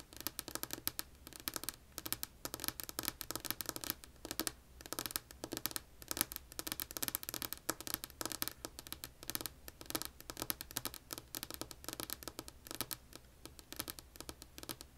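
Long polished nails on both hands tap and scratch across a flat, solid, light wood-grain wooden tabletop. Dense, rapid, quiet clicks and scraping strokes come out bright and crisp, each dying away almost at once with very little low end.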